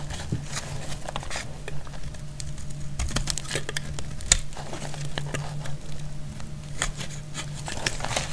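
A metal utility blade cuts into a solid, dry, dark purple bar of soap, making a run of short, dry crackles and sharp bright clicks. A steady low hum runs underneath the whole time.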